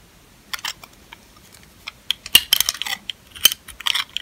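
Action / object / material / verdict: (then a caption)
scrape / dry soap bar scraped with a metal blade / soap / none. A metal utility-knife blade scrapes and shaves the surface of a palm-sized, solid, dry, old purple lavender soap bar held in one hand, curling shavings off into a pile. Irregular short, dry, crisp scraping bursts come in quick clusters, bright and high with almost no low end, and each cuts off sharply.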